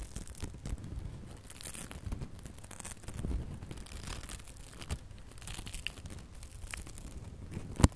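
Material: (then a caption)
Glitter ribbon. Fingertips and nails rub and scratch a small gold and red glitter ribbon bow held up close, producing soft, continuous crinkling and scratchy rustling with a low rumble underneath. The sound stays quiet throughout, with faint bright sparkles and one sharper scratch right at the end.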